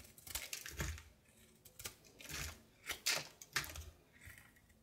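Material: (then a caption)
Soap. A solid light blue soap bar held in the palm is cut with a knife blade in short scraping strokes, and flakes fall off. Quiet, bright, dry scrapes come in uneven bursts, with brief soft thumps underneath and short pauses between strokes.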